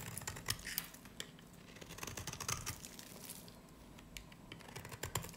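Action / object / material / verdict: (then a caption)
scrape / varnished soap bar shaved with a blade / soap / none. A solid pale green dry varnished soap bar held in the hand is shaved with a snap-off blade, giving a rapid series of dry, crisp crackles and scratchy snaps with bright edges over a faint low rumble. Crumbly curls come off the bar as it is cut.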